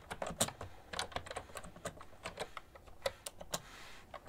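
Steady typing on a full-size beige plastic ergonomic keyboard with hollow-housed keys, tapped with fingertips and long nails. Quick, sharp clicks of varying loudness follow one another in an irregular rhythm, each a brief, bright tap over a faint, quiet background.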